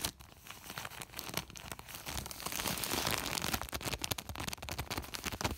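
Fingertips and short nails scratch and rub the crinkly woven surface of a large white woven polypropylene plastic sack. The result is a dense, bright, irregular crackle of rapid scratches and crinkles, swelling louder through the middle of the clip before settling into quicker bursts.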